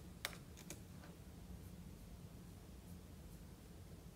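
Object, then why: Laptop keyboard with plastic keys. Fingertips type and tap on the plastic keys of a silver aluminium laptop with a solid thin body, resting on a marble table. A few sharp, bright key clicks stand out early, each dying away almost at once, then softer taps follow over a steady low hum.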